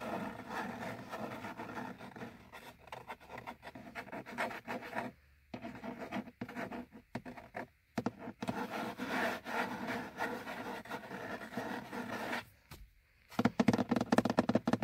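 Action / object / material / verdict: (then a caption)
scrape / molded plastic dashboard gauge hood / plastic / none. Fingernails of both hands scratch and rub along the top edge of a car's molded, hollow plastic instrument cluster hood, making a dry, raspy scraping with a low hollow body. The scratching runs in steady bursts with brief silent pauses, ending in a louder, faster flurry of strokes.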